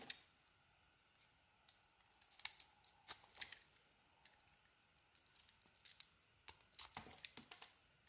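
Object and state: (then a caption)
Bar of soap being carved. A blade cuts into a teal and cream bar of soap, curling shavings off it. A series of quiet, crisp, bright scraping and slicing strokes comes in short bursts separated by near-silence, with soft crinkly detail and almost no low end.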